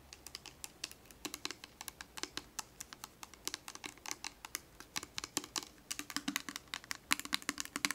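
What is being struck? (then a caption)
Plastic bottle full of oil. Long acrylic nails quickly tap and scratch the label and body of a small, clear plastic Johnson's baby oil bottle full of oil, held close. The result is a steady, rapid stream of dozens of sharp, bright, dry clicks that sound like typing, each dying away almost instantly, with little low end.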